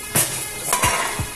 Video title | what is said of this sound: Lỗi Honda Vision 2021 -2020. Tổng hợp các lỗi trên Honda Vision. | Bô mới im, khi gõ vào nó im, không có tiếng kêu.